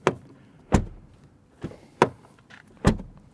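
An Audi Q6's door, with metal panels, is shut several times, each closing a short, deep, solid thud with little ring. The door sounds full, deep and thick, serious as a German car should, unlike many modern cars whose light-alloy door panels have lost that sound.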